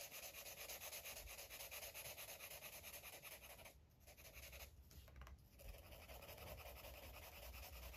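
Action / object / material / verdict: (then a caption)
scrape / felt-tip marker on paper page / paper / none. A green felt-tip marker is rubbed and scribbled over the surface of a paper coloring book page. It makes a continuous, bright, scratchy rubbing sound with a quick back-and-forth rhythm. The sound briefly softens around the middle of the clip before resuming at a steady pace.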